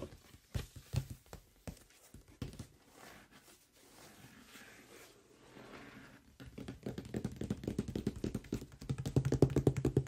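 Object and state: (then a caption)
Cardboard box. Fingertips tap the top surface and sides of a large closed cardboard product box, making short, dull, low thuds that die away almost at once. Scattered taps and a soft brushing, scratchy stretch give way to rapid, steady tapping that grows louder toward the end.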